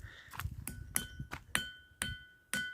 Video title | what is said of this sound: #news #classicbalu #entertainment #telugu #telugunews ఖిల్లాగట్టు (ఖిల్లాఘనపురంకోట) అద్భుతాలు Part-8 | గంట సౌండ్ లాగా వస్తుంది, కొంచెం డిఫరెంట్